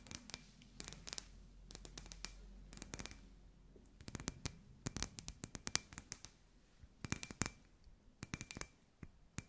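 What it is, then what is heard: Glass ball lamp tapped with nails. Long white nails tap and scratch a hand-sized hollow clear glass ball lamp with fairy lights inside. Irregular bursts of sharp, bright clicks come with soft scratching between them. Each tap dies almost instantly over a faint low hum.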